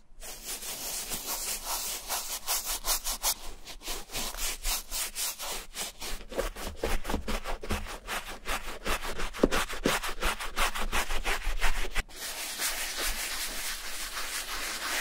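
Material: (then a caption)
Suede leather. A wooden-handled bristle brush loaded with foamy suede shampoo scrubs the inside lining and outer shaft of a hollow, brown vintage Levi's suede leather boot lying open on a towel. Quick, somewhat uneven back-and-forth strokes make bright, scratchy rubbing swishes at roughly three per second. Near the end the scrubbing turns softer and more continuous.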